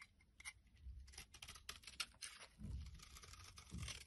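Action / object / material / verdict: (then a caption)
scrape / bar soap scraped with a knife blade / soap / none. A solid light blue oval bar of soap with ridged edges is held in both hands and scraped and cut with a utility knife blade, knocking off crumbly flakes. Quiet, dry, bright scratching and crisp crackles come in quick bursts, with soft low thumps underneath, especially in the second half.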